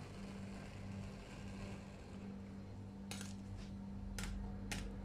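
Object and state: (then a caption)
Stainless steel cold plate scraped with a spatula. A gloved hand drives a metal spatula along the surface of a large, round, stainless steel ice cream roll cold plate, rolling up the frozen ice cream. A steady low hum runs throughout, and in the second half short, bright metal-on-metal scrapes burst out.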